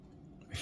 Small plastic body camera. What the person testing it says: you shake it like this you don't hear anything